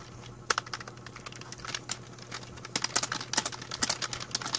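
Both hands type with their fingertips on a full-size black plastic A4Tech membrane keyboard with a hollow plastic body, resting on a blue mat. A quick, uneven run of short, bright, clicky key taps plays over a faint steady low hum, each tap dying away almost at once.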